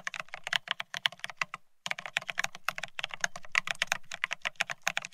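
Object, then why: Mechanical keyboard with ceramic keycaps on a steel plate. Both hands type rapidly with their fingertips on a Bear65 mechanical keyboard fitted with blank white matte ceramic Cerakey keycaps on a steel plate, resting on white cloth. A dense stream of short, bright, clacky keystrokes centered near 2 kHz, with a faint low thock under each press, pauses briefly just before the two-second mark and then resumes. Each click stops almost instantly.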